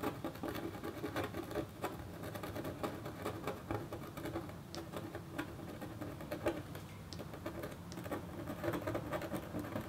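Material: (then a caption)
Copper foil. A metal stylus in a red holder makes rapid, short scratches across a flat, black-coated copper foil scratch art board while the other hand rests on paper. The result is a quiet, steady patter of dry, scratchy ticks with a faint mid-pitched tone.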